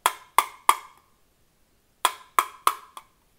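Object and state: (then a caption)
Plastic-sounding injection-molded polymer holster. Seven sharp, hollow knocks on an injection-molded Bravo Concealment Torsion 3.0 appendix holster for a Glock 48, believed to be polymer rather than Kydex, come in a group of three and then a group of four, each a bright clack near 1.2 kHz that dies away fast. The holster sounds like plastic, like a toy gun that would shatter if dropped, unlike Kydex holsters, though this describes the sound rather than poor quality.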